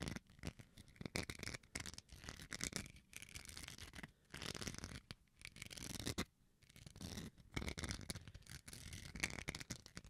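A small, solid white plastic rice paddle spoon is held close to the microphone while its surface is scratched with fingernails. The result is bursts of dry, bright scratching with a soft low rumble beneath. The bursts come in uneven runs with brief quiet gaps.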